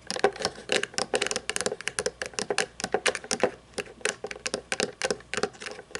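Long painted nails tap and scratch across the chrome plastic underside and plastic wheels of a small toy monster truck lying upside down. A quick, uneven run of dry clicking taps follows, each short and snappy with a bright edge, mixed with brief scratchy rasps and a faint body around 400 Hz.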